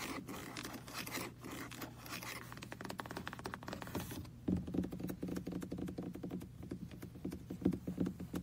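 Fingertips and nails tap and scratch the roof and windows of a small red hollow plastic car-shaped computer mouse with a cable, resting on a lap. A soft, steady scratching for the first four seconds gives way to sharper, quick plastic taps with a low hollow tone. The taps come in uneven clusters, with a few louder knocks near the end.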